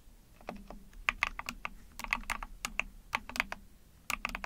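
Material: Plastic.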